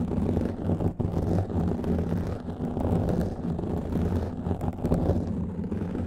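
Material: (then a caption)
Foam. A black foam microphone windscreen is scratched with the fingertips and nails of both hands. The result is a continuous, dense, low rumbling scrape with a muffled, boomy body and constant rubbing texture. There is almost no bright content.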